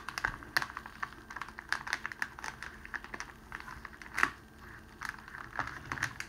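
A rolled strip of clear cellophane wrapping sheet is pressed and rolled under the palms and fingertips, crinkling it. Dense, quick, bright crackles and snaps come in irregular bursts, centred around 1.9 kHz, with a louder crunch near the four-second mark. The crackles die away almost instantly over a faint steady hiss.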